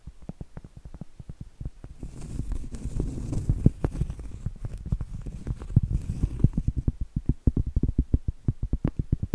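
Long acrylic nails tap and scratch a large, round, solid cork board, a trivet or coaster, held up in the air. Quick, dull, low taps sound in steady runs with almost no ring. Two stretches of soft, hissy scratching mix in among them.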